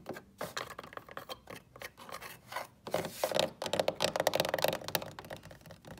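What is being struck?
Pine wooden box.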